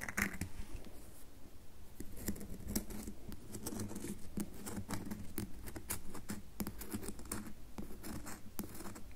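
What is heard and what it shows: Long nails scratch lines into the top surface of a solid red bar of soap held in the palm, leaving white marks. The result is a steady run of dry, rapid scratching with many short, crisp clicks over a faint low hum.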